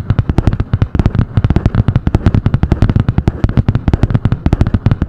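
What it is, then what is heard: Spiral notebook with cardboard cover. Long painted nails tap and scratch fast on the cardboard cover of a medium spiral-bound notebook with a butterfly-print hard cover. About 39 quick, dry taps land in steady bursts over five seconds, each a short, low thump that dies away at once, with a light scratchy texture between them.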